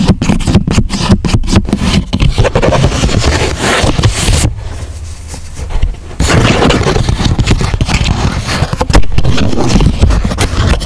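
Fingertips rub and scrape across the surface of a flattened grey chipboard sheet with a folded flap, making a dense, rough scratching texture heavy in the low end. The scraping briefly softens to a quieter rustle midway before picking back up with full strokes.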